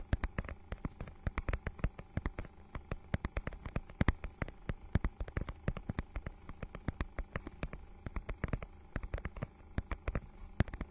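Long nails scratch and tap across the holographic, scale-textured plastic cover of a notebook-sized book, producing dozens of quick, dry clicks and scratches in a steady, irregular stream. Each sound is short and crisp with almost no ring, sitting over a faint low hum.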